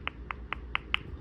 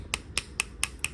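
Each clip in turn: First: Five quick, faint ticks near 1 and 3 kHz with no ring: a soft, not-yet-cured acrylic nail. Second: Five crisp, high clicks with no ring: a fully cured acrylic nail that is dry.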